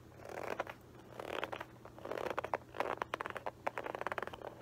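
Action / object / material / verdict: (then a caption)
scrape / textured leather loafer / leather / none. Fingertips and nails scratch and tap the textured upper near the metal horsebit buckle of a hollow, empty, dark embossed Guess leather loafer held up in the air. Soft, raspy scratching swells in the midrange give way to a run of quick, dry taps and ticks with almost no ring.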